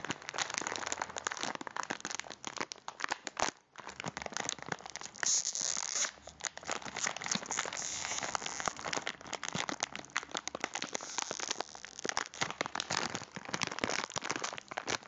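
A full cylindrical packet of biscuits in a crinkly plastic wrapper is held in the hands and crinkled with the fingers. Dense, bright crackling and rustling runs almost continuously, with a brief quiet gap near 3.5 seconds and another short lull around 6 seconds.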